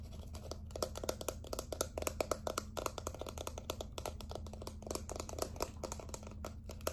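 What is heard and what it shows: Fingernails tap and scratch along the side and bottom of a small hot-pink plastic setting spray bottle with a black pump top. Rapid, dry, clicky taps with a hollow plastic ring run through the whole clip, mixed with a scratchy crinkle and a steady low hum underneath.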